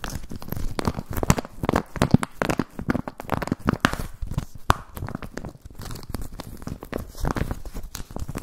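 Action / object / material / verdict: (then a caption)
scrape / empty plastic zip pouch / plastic / none. Fingertips crinkle and rub an empty, transparent plastic zip pouch with a ring tab, making a steady run of crisp, crackling rustles. The sharp crinkles and scrapes pop up constantly over the whole clip, with a soft, low body beneath the brighter crackle.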